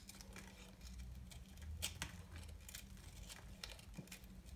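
A solid, dry bar soap ball held in the hand is shaved with a small knife, producing crumbly flakes. Quiet, dry scraping and crumbling crackles come in short bright bursts over a low, steady hum.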